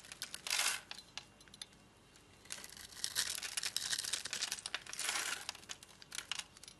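A solid, translucent yellow glycerin soap bar, held in a palm with long dark nails, is scored and scraped with a metal blade, breaking off crumbly crystals. The sound is dry, crisp scraping and crackling, bright and high with almost no low end, coming in bursts of quick ticks separated by quieter pauses.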